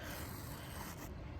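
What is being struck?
Nothing is struck.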